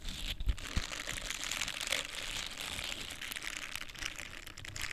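A small, solid yet flexible pink silicone facial cleansing scrubber pad with soft bristles is scratched and rubbed with long painted nails and fingertips. The result is a continuous dense, crinkly scratching texture, bright and hissy up high. A few soft low thumps come through near the start.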